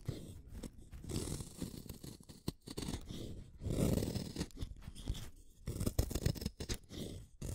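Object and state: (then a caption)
Wooden pencil being shaved. A small, solid black-lead wooden pencil is shaved with a utility knife blade. Repeated rough scraping and shaving strokes come in uneven bursts, with a low, heavy rasp and short, dry cuts that stop with almost no ring.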